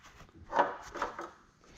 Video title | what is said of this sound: Forklift Fixin' and Round Baler Drama | That sounds hollow. I suppose it saves in steel. Yeah, it sounds hollow.